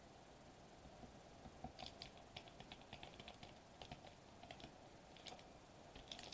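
Fingertips tap rapidly on a sheet of foil-laminated plastic bubble wrap lying flat on a table. About twenty quick, light taps give short, bright crinkly clicks over a faint steady tone near 700 Hz. The taps are soft and irregular and die away almost at once.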